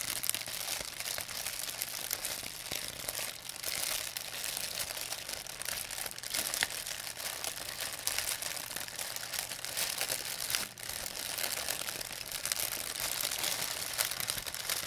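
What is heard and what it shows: An empty, thin white plastic pharmacy bag is crinkled and squeezed in both hands with long nails. A dense, continuous, bright crackling of plastic runs the whole clip at a fairly even level, with brief dips near 3.5 and 10.8 seconds.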